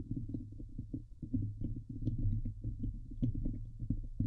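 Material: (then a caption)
Steel mesh. Both hands scratch fast with long nails across the hollow steel wire-mesh dome grille of a Blue Yeti microphone. The result is a dense run of muffled, low thumping scrapes over a steady low hum, with only faint bright ticks on a few strokes.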